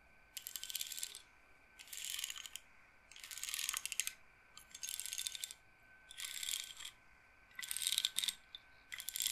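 Long nails flick and roll the rows of wooden beads on a wooden-framed bead roller, like an abacus or massage roller. The result is seven bursts of dense, bright, high-pitched clicking rattle, separated by short quiet pauses.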